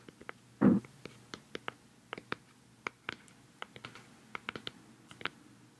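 Long fingernails tap the black lid of a hollow, round white plastic cosmetic pad jar held close to the microphone. About twenty short, crisp clicks fall in an uneven pattern, with one louder, muffled low knock near the start. Each click dies away almost at once.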